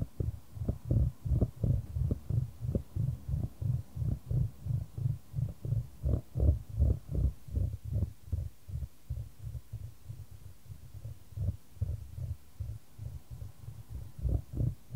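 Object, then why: Wooden ball in a shallow wooden tray. A solid, light wooden ball rolls around a shallow square wooden tray held in white-gloved hands, the tray tilted back and forth to keep it moving. The clip holds a steady train of about thirty low, dull, muffled thuds and rumbles, almost all below 200 Hz with no bright edge, each dying away almost at once. The strikes repeat at roughly 160 per minute with an uneven rhythm, like a soft throbbing.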